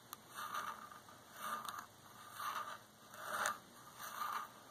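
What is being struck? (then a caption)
Varnished wooden chair armrest. Long nails and fingertips scratch and tap the arm of a dark varnished solid wooden chair in five soft, rhythmic scraping strokes. Each stroke is a quiet, dry rasp centered in the midrange around 1.2 kHz with a faint bright hiss. Light clicks mark the starts of some strokes, with almost no low end.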